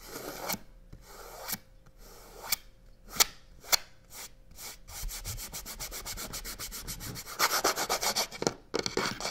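A hand and fingertips quickly rub the side panel of a hollow box covered in black crocodile-texture faux leather. Scattered dry, bright scraping strokes give way to a fast, steady run of rubbing, which grows louder and harsher near the end.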